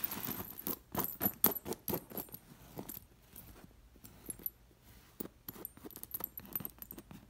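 Long nails scratch and flick the metal sequin discs sewn onto an embroidered fabric cushion, which rests with its edge against a leather couch. Quick, uneven bursts of bright, jangly clicking and scraping come and go, louder in the first two seconds, quieter in the middle, then picking up again near the end.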